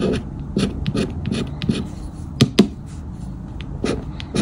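A black round plastic or rubber scraper disc is rubbed repeatedly across a thin paper "Grande Sorte" scratch-off lottery ticket with a latex coating, held down by fingertips as it lies flat on a dark fabric shirt. The result is a series of short, dry, rasping scrape strokes with a low, papery body and brief bright edges, including two sharper, louder scratches near the middle as the coating is scraped away.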